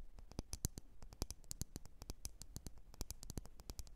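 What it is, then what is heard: Glass candle jar. Long nails tap and scratch against a lit, wax-filled red glass candle jar. A rapid, uneven series of short, sharp, bright clicks that stop almost instantly, over a quiet, low background hiss.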